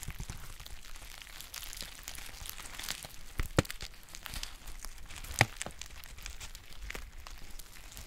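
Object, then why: Foil tea pouch. A green foil tea pouch, held close, is crinkled and bent with fingers and long nails, making a steady, soft, bright rustling crinkle. Two louder, sharp crackles stand out partway through.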